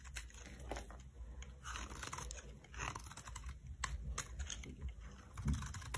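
A metal knife blade shaves and scrapes thin curls off the surface of a solid, hand-sized rectangular bar of green soap held in one palm, the curls crumbling onto a pile of shavings. Many quick, dry, crisp scrapes and crunches come in close succession over a low steady rumble, with brief bright clicks at the edges of some strokes.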